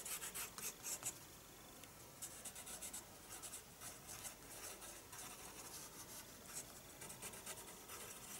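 Pencil shading is rubbed across the paper of a spiral sketchbook, giving quiet, bright, dry scratchy strokes. The strokes come in short bursts with brief pauses between them, over a faint hiss.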